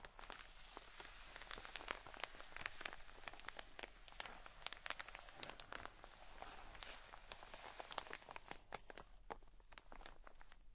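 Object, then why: Cotton wool pack in plastic wrap. Long nails scratch along the ribbed clear plastic wrap of a long cotton wool pleat pack, making a dense run of quick, crisp crackles and scrapes. Sharp high clicks poke out from a soft, steady rustle, with the strongest flicks in the middle of the clip. The scratching thins and quiets toward the end.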